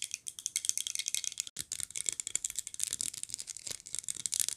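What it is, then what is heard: Glazed ceramic figurine. A small glazed ceramic polar bear figurine in a red Santa suit is held upright and turned over while being tapped with long nails. A rapid, continuous stream of crisp, bright clicks and ticks sounds with almost no low end, each tap dying away instantly, with one brief pause partway through.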